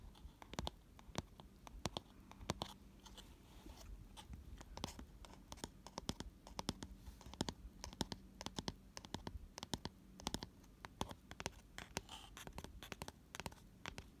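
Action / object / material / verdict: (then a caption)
scrape / round cardboard gift box / cardboard / none. Fingernails scratch and tap the flat white base inside an empty, hollow, round cardboard gift box with a white paper lining and a pink rim, held on its side. The result is quiet, dry scratching broken by many sharp, dead taps that stop instantly, over a faint low hum.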